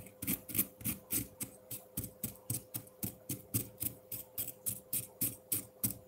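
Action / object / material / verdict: scrape / frozen milk ice block scraped with a metal fork / ice / none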